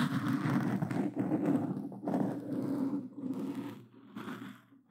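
Plastic claw gloves scratch across a black foam microphone cover on a Blue Yeti, making dense, rough rustling and scraping with a low, muffled body. The scratching comes in uneven bursts that grow quieter and sparser toward the end.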